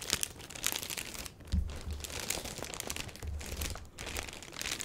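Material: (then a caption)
Plastic. A medium box wrapped in a black plastic bag with a paper shipping label on top sounds hollow as long fingernails tap and scratch its top. The hands then grip and squeeze the sides, crinkling the plastic. Dense, bright crinkles are broken by low, thudding handling sounds.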